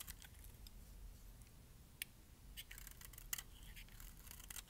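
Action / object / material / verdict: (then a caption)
scrape / bar of soap shaved with a metal blade / soap / none. A metal blade shaves flakes off the face and edges of a palm-sized, solid, dry dark purple bar of soap held in hand. Soft, crisp scraping and crackling runs throughout, broken by a few sharp, bright clicks, over a faint low rumble.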